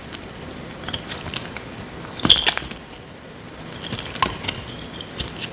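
A small metal blade cuts and scrapes a dry, solid, rectangular tan bar of soap held in the hand. It makes dry, crisp, crackling crunches and sharp little snaps over a faint hiss, with brief bright bursts that stop almost at once.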